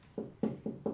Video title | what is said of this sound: Cooler Master SL600M - Beautiful Case, Challenging Airflow! | you tap on it and you can hear the plastic that is underneath it